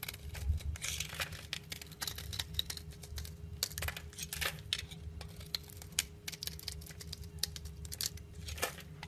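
A metal box-cutter blade scrapes thin curls off the top of a solid, rectangular, olive-green olive oil bar soap stamped "DALAN," held in hand. Rapid, dry, crackly scraping strokes with bright, crisp edges repeat one after another over a faint steady low hum.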